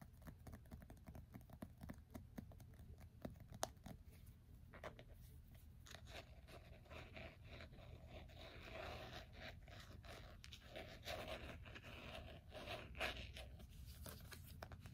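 An iPhone in a black plastic case is held in both hands while fingertips and nails tap rapidly and forcefully on its screen and case, then the phone is turned over. Quick, sharp clicks and taps come over a low, steady rumble, turning into denser, brighter scratching and scraping in the second half.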